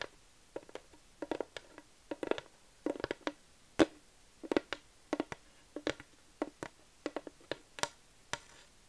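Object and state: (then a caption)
Wooden plaque. Long nails tap and scratch a flat wooden plaque sign, producing a loose, irregular series of short, dry clicks and knocks. The hits have a hollow midrange tone near 330 Hz and die away almost instantly. A few brighter scratchy strokes mix in against a quiet, still background.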